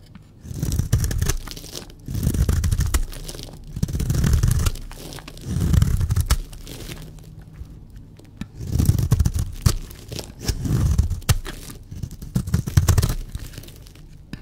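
A blade shaves and scrapes a solid, dry, white speckled bar of soap in eight separate strokes. Each stroke makes a dense, crunchy, crumbling scrape that is heavy in the low end, with short quiet gaps between strokes.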